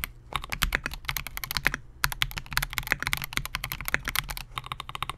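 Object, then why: Mechanical keyboard with polycarbonate case and plastic keycaps. Both hands type continuously on a compact 68-key Melgeek MOJO68 mechanical keyboard with Gateron G Pro Silver switches, a clear polycarbonate case and SA-profile plastic keycaps, resting on a desk mat. Rapid, short, bright clacks pile over a soft low thock, with brief pauses near the start and around the two-second mark.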